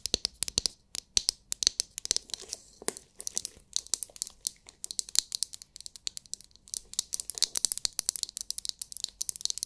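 Long nails tap and scratch the shell of a palm-sized, oval, glittery translucent plastic massage brush that may contain glitter. The result is a dense stream of dry, high, crackly clicks and scratches in clustered bursts, with almost no low end and no ring after each tap.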